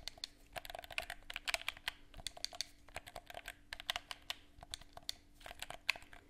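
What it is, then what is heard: Plastic game controller clicked and tapped. Fingertips click the buttons and tap the casing of a hollow black plastic gamepad held in both hands close to the mic. The result is a quick, irregular run of short, dry, bright clicks and taps that die away almost instantly, over a faint steady low hum.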